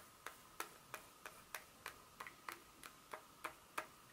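Long pointed nails tap the smooth back of a solid, flat dark chocolate bar held in hand, also scratching it, making about twelve sharp, quiet clicks at a steady, clock-like pace. Each click is short and bright with a faint ringing tone around 1.2 kHz and almost no low end.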